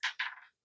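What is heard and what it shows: A spent brass shotgun primer, punched out of the shotgun hull with a mallet in a vise, drops and hits the floor. Two bright, high metallic clinks are followed by a short rattling bounce that dies away within half a second.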